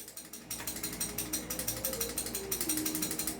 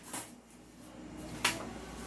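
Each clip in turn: First: loose rattling barrel on a replica gun. Second: tight toy gun barrel, no rattle.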